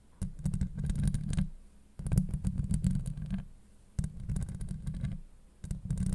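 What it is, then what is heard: Metal mesh microphone grille being scratched. Long acrylic nail tips scratch a hollow steel mesh microphone grille in four bursts of rough, crackly scraping. The sound is deep and rumbling, with dense low boom around 180 Hz and faint bright ticks over the top. Each burst stops short into near silence.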